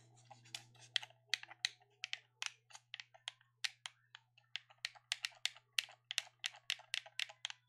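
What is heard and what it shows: A hand-sized black plastic gamepad is held in both hands while its buttons and sticks are clicked and tapped with fingertips, one finger tapping its face. About 28 sharp, bright, dry plastic clicks come in quick, uneven bursts, each dying away almost instantly, over a faint steady low hum.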